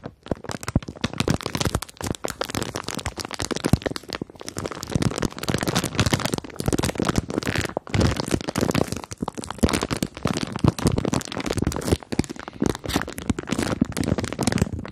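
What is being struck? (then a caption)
Plastic bag of marshmallows. A clear plastic bag full of pink and white marshmallows is held close to the microphones and squeezed and scratched with long nails. A dense, continuous stream of sharp crinkling and crackling runs throughout, with a soft, full low end beneath the brittle snaps.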